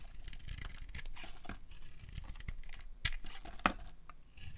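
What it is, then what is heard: Dry soap bar being carved. A solid rectangular bar of dry pinkish soap with red and green glitter decoration is held in the hand and carved with a metal utility blade, peeling off thick curls. Steady dry, crinkly scraping and shaving fills the clip, with two sharp, bright cracks standing out near the end as the blade breaks through.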